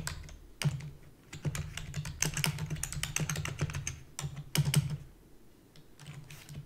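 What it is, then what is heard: Plastic computer keyboard. Fingertips with long natural nails rapidly type on a black, full-size plastic computer keyboard with hollow key housings. Quick bursts of dry, clicky keystrokes pair a hollow low thump with bright clatter, and each stroke dies away almost instantly. Brief pauses near the four- and five-and-a-half-second marks separate the bursts.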